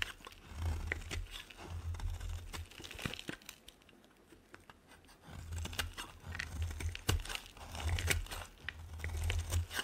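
A metal blade scrapes dry, crumbly flakes off a solid white bar of soap, making dense, crackly crunching and crinkling strokes over a low rumble. The scraping fades to near quiet in the middle, then picks up again with sharp, bright snaps.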